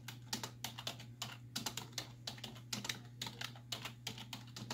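Rapid typing on a black plastic computer keyboard resting on a wooden desk, its hollow keys pressed by long nails and fingertips. The sharp, bright clicks come in quick uneven bursts, each dying away almost instantly, over a steady low hum.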